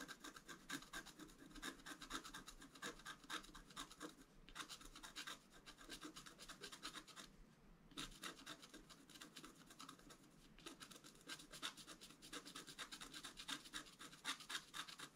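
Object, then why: Wax-coated scratch art card scratched with a wooden stylus. A thin wooden stylus scratches the coating of a flat black-coated scratch art card held down by one hand. Dense, rapid, bright scratching and rasping strokes run throughout, with brief pauses near 4.5 and 7.5 seconds and a short dip near 10.5 seconds.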